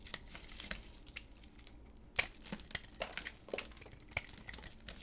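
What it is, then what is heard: Bar of soap shaved with a blade. A solid white hard bar of soap, held in black-gloved hands, is shaved with a utility knife blade. The result is a quiet series of short, crisp, bright scraping crackles and sharp snaps as thin pieces cut away.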